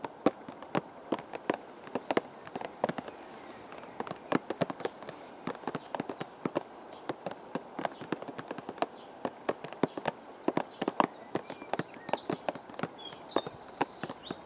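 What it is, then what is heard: Cardboard box. Fingertips tap the side of a hollow purple cardboard teacake box held upright, producing a rapid, irregular stream of short, dry, hollow taps with a midrange body. Each tap dies away almost instantly over a steady low hiss, and faint high tones appear near the end.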